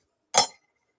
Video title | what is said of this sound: Thanksgiving Day Hangout | It does not sound like gold.